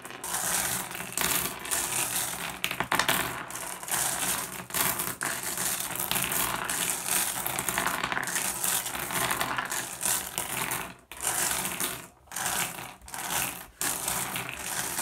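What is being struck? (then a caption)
Pile of small flat glass gems on wood. Fingertips rake and shuffle a pile of small, solid, blue iridescent flat glass gems on a wooden surface. The result is a dense, bright, continuous clicking and clattering, with brief pauses near the end.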